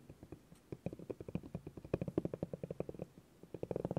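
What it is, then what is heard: Bamboo cutting board. A spiky orange rubber massage ball is rolled and pressed by fingers across a flat, solid bamboo cutting board. It makes a low, rumbling, knobbly rolling sound: a rapid run of soft, dull thumps with short pauses, busiest in the second half.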